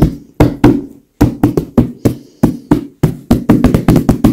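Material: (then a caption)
Leather. Long acrylic nails tap and knock on a soft, stuffed white leather pillow, with some scratching across the leather surface. An irregular series of muffled, low thuds, each with a brief soft decay, gets quicker and denser toward the end.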